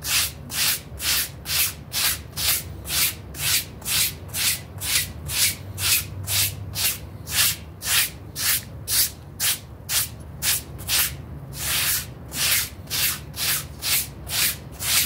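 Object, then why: Synthetic pile rug scrubbed with a stiff-bristle brush. A pink stiff-bristle brush scrubs briskly back and forth across a small, dirty blue synthetic pile mat with a frog face, while fingertips hold its edge. About 28 rhythmic, bright, hissing scrapes sound at a steady pace of roughly two per second, each ending quickly, over a faint low rumble.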